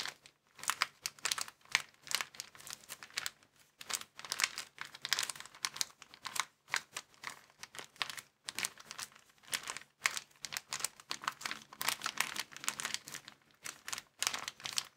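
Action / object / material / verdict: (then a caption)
scrape / thin plastic bag / plastic / none. Fingertips and thumbs press and crinkle a small, empty, folded white plastic bag. Dense, bright crackling comes in rapid, irregular bursts with brief quiet gaps, each burst cutting off sharply with no ring. The bag gives a continuous, sharp crinkling texture throughout, with almost no low end.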